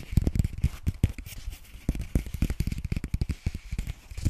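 A small white lined paper notepad is held up and tapped quickly on its cover and edges with long nails. The result is a rapid, uneven run of short, dry taps: mostly dull low thumps, with a faint papery crackle and clicky bright edges on top.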